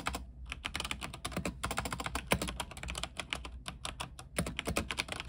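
Fingertips type quickly on a backlit mechanical keyboard with white plastic keycaps on a silver frame. The result is a dense, rapid stream of short, crisp clacks, each with a bright click on top and a low thock beneath, over a faint steady low hum.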